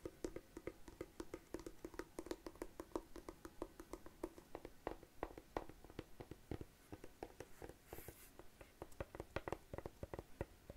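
Long nails tap and scratch across the textured black covering of a closed, hollow, palm-sized hard-shell glasses case. Many quick, dry taps with a hollow midrange knock come in a steady, uneven stream, with soft scratching between them and a brief brighter scrape near the end.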